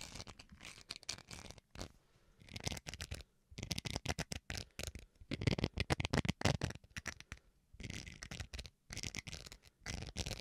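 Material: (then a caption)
Plastic. Fingernails scratch the textured face of a small, solid white plastic rice paddle in quick, dense bursts of strokes separated by brief pauses. The scratching is dry and broadband, with a bright, hissy top and a soft low rub underneath, each stroke dying away at once.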